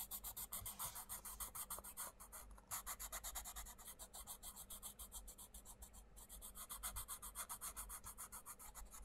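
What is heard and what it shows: A wooden coloured pencil tip is rubbed and scratched across the printed paper page of a flat, open paperback colouring book on a wooden table, while the other hand holds the book. Fast, steady, short colouring strokes make a bright, raspy scratching sound. There is a brief dip in the strokes around two and a half seconds, and a faint low hum runs underneath throughout.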